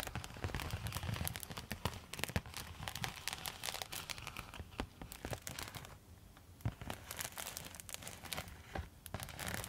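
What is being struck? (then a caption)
Quilted foil thermal pouch scratched with metal nail tips. A silver quilted foil thermal zip pouch is scratched with long metal nail tips, making dense, continuous crinkling and scratchy crackles. The sound has bright, sharp ticks over a soft low rumble, with a brief quieter stretch near the middle.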